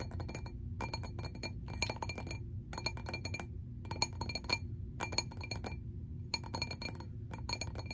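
A glass object is tapped in quick clusters of sharp, bright clinks, with short high ringing tones between pauses. A steady low hum sits underneath throughout.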